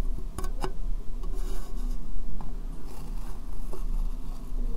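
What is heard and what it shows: Fingernails tap and rub on a small, hollow, empty transparent plastic box turned upside down over the microphone. Sharp, clicky taps punctuate a steady scratchy rasp over a heavy, boomy low rumble from the hollow shell.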